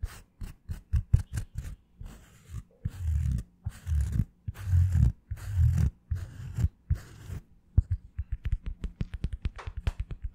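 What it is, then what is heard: Plastic-backed sponge brush, tapped and scratched. A plastic-backed foam wave sponge brush is held upright while long fingernails of both hands tap and scratch its hard black plastic back with a blue rim and printed logo. Quick, dull, low taps open the clip, followed by longer rough scratching strokes in the middle. It ends with a fast, uneven run of dozens of short, muffled taps that die away instantly.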